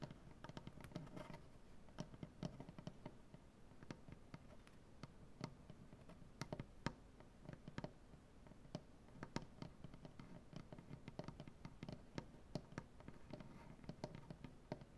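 Both hands tap the large solid maple butcher-block tabletop with their nails in a quick, irregular stream. Each tap is a short, dry, quiet click with a woody low thump around 150 Hz and almost no ring, and a few taps land sharper and brighter than the rest.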